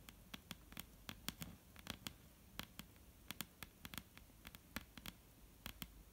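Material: Wood.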